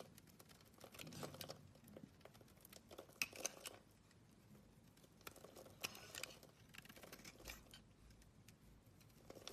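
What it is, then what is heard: Bar soap being shaved. An oval, solid blue bar of soap is scraped and shaved with a metal blade, giving quiet, bright, dry scratching and crinkly crackles in uneven bursts. A few sharper ticks stand out over a soft, steady background hiss.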